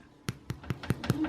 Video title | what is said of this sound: HOW TO MAKE AMISH WHITE BREAD - KITCHENAID PROLINE 7 QT - COOK WITH ME | so here is my bread you tap on it and it's Hollow